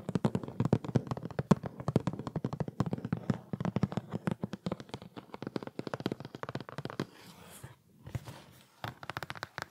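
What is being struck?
Cardboard product box.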